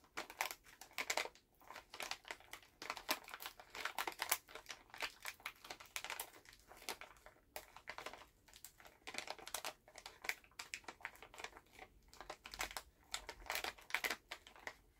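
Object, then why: Plastic candy pouch. A full Halls plastic cough drop pouch is held in both hands while the fingers squeeze and crinkle the bag. Dense, bright crackling comes in quick irregular bursts with almost no low end, each snap dying away almost instantly. The crinkling carries on without a break for the whole stretch.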